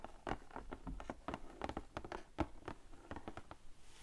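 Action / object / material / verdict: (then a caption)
tap / cardboard box / cardboard / none. Fingertips and long painted nails tap and patter across the lid of a large, flat, printed cardboard sequin art kit box lying closed on a table. The result is a quiet, quick, uneven run of soft, dull taps with a low, papery thump and almost no ring.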